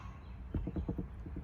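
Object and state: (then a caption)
Baked bread loaf, hollow (done). A freshly baked corn rye wheat bread loaf, just out of a beehive oven, evenly browned and pulled away from the sides of its pan, is rapped lightly. A series of soft, low, hollow-sounding knocks is heard, which shows the loaf is done.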